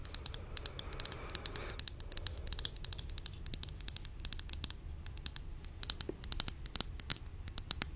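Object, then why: Small plastic pump bottle. Long nails rapidly tap and scratch a small, hollow pink plastic cosmetic pump bottle held close to the mic. The result is a fast, uneven run of sharp, bright plastic clicks, with a soft scratchy rustle early on, over a faint low hum.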